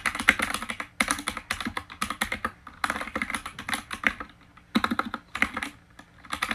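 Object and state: Plastic mechanical keyboard.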